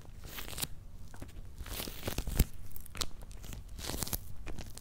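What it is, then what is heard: Cardboard box, scratched and tapped. Fingernails scratch and fingertips tap on the paper labels and top of a medium, closed, hollow corrugated cardboard shipping box. Dry, crunchy scratching bursts with bright rasps mix with short, dull, hollow low thumps that die away almost at once. The tapping and scratching continue throughout at a soft, steady level.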